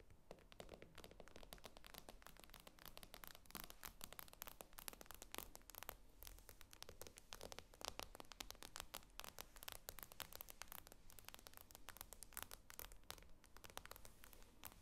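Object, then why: Glass tablet screen. Long nails tap and scratch the glass screen of an iPad lying flat. Rapid, dense, bright clicks and scratchy strokes continue steadily throughout, over a faint low hum.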